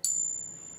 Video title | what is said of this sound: 5 great ways to test your gold and silver at home! | has a bit of a ping